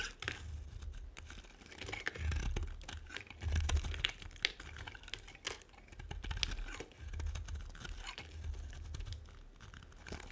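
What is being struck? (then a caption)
Bar soap scraped with a metal blade. A metal blade carves and scrapes crisp flakes off a solid, dry pink and white bar of soap. Dense, dry scratching and crackling continues throughout, with bright flaking crunches over a low rumble that swells and fades.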